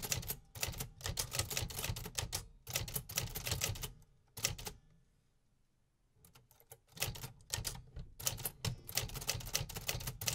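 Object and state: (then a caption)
Manual typewriter keys. Fingertips type steadily on the round keys of a 1950s Remington Quiet-Riter manual typewriter with a cream metal body, driving the typebars. Rapid, bright metallic clacks with low thumps come in dense bursts, with a quiet pause of near silence midway before the typing resumes.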